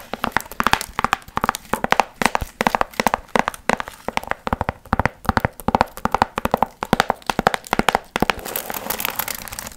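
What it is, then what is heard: Foil fringe piñata, crinkled. Long nails scratch and crinkle the shiny gold foil and tissue fringe covering a hollow, pumpkin-shaped piñata, making rapid bursts of crisp crackling and papery rustling centered in the mids with bright edges. Near the end, the separate crackles give way to a steadier crinkling hiss.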